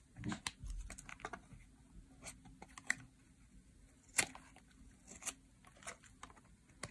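A metal utility blade shaves strips off the edge of a solid, dry pink soap bar. It makes a quiet series of short, crisp scraping and crackling ticks with a bright, papery edge. Each one dies away at once over a faint low background.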